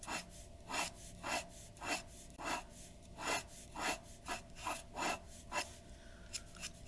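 A glass dip pen nib scratches repeated ink strokes across a white paper sheet resting on a wooden desk. Each stroke is a short, bright, raspy scratch, coming at a loose, uneven pace over a faint steady hum.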